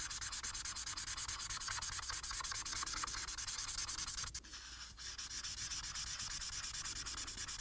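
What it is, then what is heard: Paper sheet rubbed with a marker. The felt tip of a plastic marker, held horizontally in the fingers, rubs back and forth across a thin printed paper coloring sheet lying flat. Quick, steady coloring strokes make a bright, dry scratching hiss with a soft rhythmic pulse. The sound briefly softens and thins for about half a second near the middle before the strokes resume.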